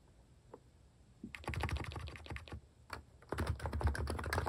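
Fingertips type on a compact electro-capacitive mechanical keyboard with pink and cream plastic cat-face keycaps, resting on a wooden desk. After a near-silent start with a couple of faint taps, bursts of soft, deep, muted keystrokes begin. They pause briefly, then resume in a denser, louder run to the end.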